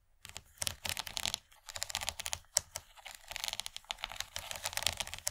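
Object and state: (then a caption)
Plastic serving tray tapped with fingernails. Long fingernails of both hands tap rapidly along the far ridge of an empty, rigid yellow plastic serving tray shaped like an ear of corn. The taps come in quick bursts of dry, bright clicks with very little low end, separated by short pauses.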